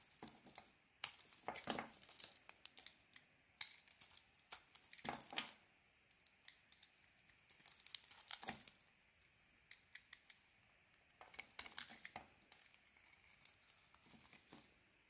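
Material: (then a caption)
Soap. A small metal blade carves a white soap bar with a red coating, and crumbly chunks break off. Bursts of bright, crisp scraping and crackling come in clusters separated by short quiet pauses, with almost no low end.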